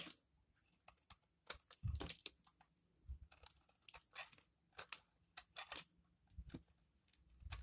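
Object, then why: Bar of soap scraped with a metal blade. A metal blade scrapes and shaves thin curls off the orange face of a hand-sized, solid bar of dry soap, painted in blue, orange and dark layers and held in one hand, while the shavings fall onto a wooden table. The strokes come as a quick run of dry, bright, crunchy scrapes with soft low thuds beneath. Each one stops short, with almost no ring.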